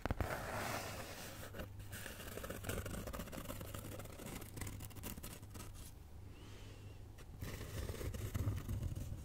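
A flat brown kraft cardboard cutout (possibly thin fibreboard) shaped like a cat's head is held up in both hands and scratched and tapped with long nails. Dense, dry scraping and quick taps run steadily throughout over a low, constant hum, easing slightly in the middle before growing louder again near the end.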